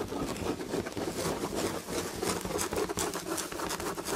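Long red fingernails scratch the textured chenille tapestry fabric on an upholstered chair back. The result is a continuous, rapid, irregular scratching rasp: a dense, brushy texture centered in the low mids with bright, airy streaks on each stroke. It stays at a steady moderate level throughout.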